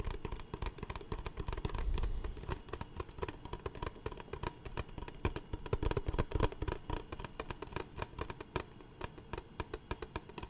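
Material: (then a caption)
Plastic. Fingertips tap and scratch a large, clear, empty PET Smartwater bottle with a label. Rapid, irregular, dull hollow taps mix with crackly scratching, heavy in the low end, and each tap dies away almost instantly.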